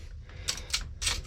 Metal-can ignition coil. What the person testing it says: nor should you be able to shake it and hear the contents